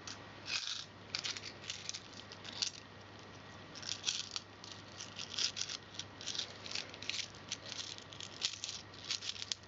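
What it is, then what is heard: Handful of metal coins. A handful of small, solid metal coins is held in cupped hands and shaken, with more coins lying on the carpet below. The coins give off bursts of bright, rapid rattling and clinking, centered around 3.3 kHz. The bursts come in uneven waves over a faint steady low hum, and each clink dies away almost instantly.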